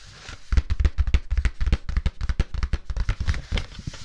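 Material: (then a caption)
Cardstock. A teal cardstock sheet, folded into a smaller layered piece, is tapped and rubbed with fingertips and long nails. After a faint start, a rapid, irregular run of short, dull, low thuds follows, with brief papery scratches between them.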